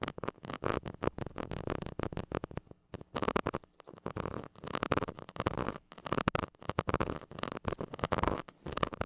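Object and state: Metal mesh microphone grille.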